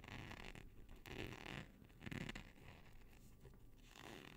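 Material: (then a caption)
Nylon. A flat black nylon hook-and-loop strip of thin textile is held in both hands, stretched out and scratched with fingertips and nails along its hook side, close to but not touching the microphone. It gives a rapid, zipper-like raspy scratching that comes in rough bursts, with louder swells around the middle of the clip, and a bright hiss layered over a low rumble.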